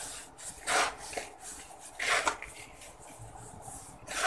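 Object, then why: Red soil in a plastic bowl. Bare hands squeeze, crumble and rub loose, dry, powdery red soil with small crumbly clumps heaped in a large yellow plastic bowl, letting fine dust fall back into it. Soft, gritty crumbling and rubbing comes in several brighter bursts over a quiet, hissy background.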